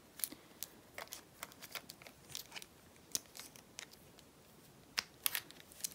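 Long natural nails tap and scratch the casing and LCD screen of a small, hollow, handheld silver compact digital camera with a metal-look body, while a black camcorder rests untouched in the lap. About twenty quiet, sharp, bright clicks and brief scratchy rasps come at uneven intervals, each dying almost instantly over a faint hiss.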